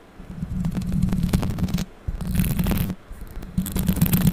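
Long pink acrylic nails scratch and tap fast across the bare, hollow metal mesh grille of a condenser microphone with no foam cover. The result is a close, dense, boomy rumble of scraping and quick tapping, heavy in the low end and mostly steady at around 170 Hz. It comes in three stretches separated by brief near-silent pauses.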